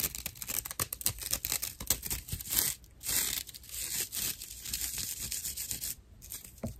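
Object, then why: Dry natural loofah pad. Fingernails scratch a dry natural loofah pad with hollow inner channels, making dense, rough, bright scratching and rasping. The strokes come in rapid bursts with brief pauses, and each scrape dies away almost instantly with little low-end body.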